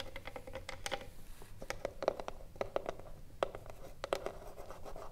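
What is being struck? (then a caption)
Wooden cigar box. Long nails scratch the front panel of a hollow wooden cigarillo box standing upright and tap its top edge. Dry scratching is punctuated by quick, sharp taps that carry a hollow tone around 555 Hz and die away almost at once.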